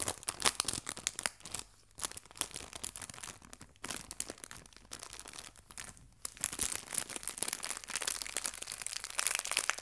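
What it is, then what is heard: Plastic bag of artificial leaves crinkled. A small clear plastic bag holding fabric artificial leaves is crinkled, then rolled and squeezed with fingers and nails. Dense, bright, crackling crinkles come in quick bursts, with brief quieter gaps near the 2-, 4- and 6-second marks. The crinkling grows busier and more continuous toward the end.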